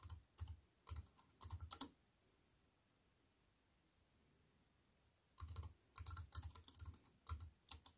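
A compact wireless keyboard with black plastic keys in a thin silver aluminium frame, resting on a wooden table, is typed on with fingertips and long nails. Quick clacky clicks, each with a low thump and a bright tick that dies almost instantly, come in a burst for about two seconds. After a quiet pause of roughly three and a half seconds, the typing resumes to the end.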